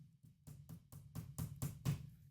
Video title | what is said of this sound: The American Craftsman Podcast Ep. 29 - Splinters | sounds like a hollow core door because that's what it is